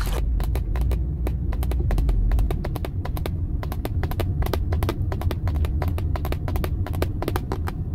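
Long acrylic nails and fingertips tap rapidly on the centre pad of a car steering wheel, a hard, hollow-sounding dark moulded plastic airbag cover with a metal badge. Sharp, bright clicks come in quick, uneven bursts over a steady low road rumble inside the car.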